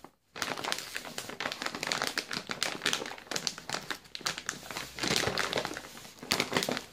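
A full yellow plastic Balocco biscuit bag is held in both hands while the fingers crinkle and squeeze it. After a brief silence, a dense, continuous run of bright, sharp crackling and crinkling follows, with quick overlapping snaps and swells that keep going to the end.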